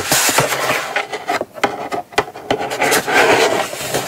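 Long acrylic nails scratch and tap across the lid and sides of a small brown kraft cardboard gift box resting on a fabric mat. Dry, raspy scraping fills the clip, broken by sharp, bright taps that stand out from the rubbing at an irregular pace.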